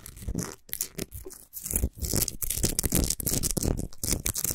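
Long nails scratch fast along the top and sides of a tall, solid Himalayan rock salt lamp. The result is dense, gritty rasping in irregular bursts with brief pauses between strokes, mixing a low rumble with a bright, hissy crackle.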